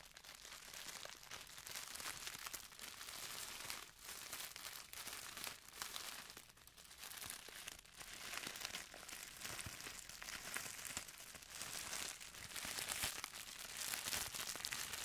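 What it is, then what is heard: Plastic poly mailer bag. A pink printed thin plastic poly mailer bag, empty and floppy, is crinkled and scratched with fingertips and nails. The sound is a continuous bright, papery crinkling with quick scratchy rustles, with a few brief dips in level along the way.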